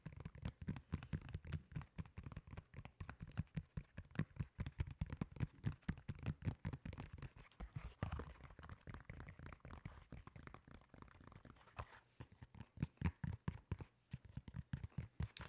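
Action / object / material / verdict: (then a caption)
scrape / molded foam slide sandal / foam / none. Fingernails scratch the ridged surface of a solid, beige molded foam slide sandal. The result is a fast, steady run of soft, dull scratching strokes, heavy in the low end with little brightness, each stroke short and dry with no ring.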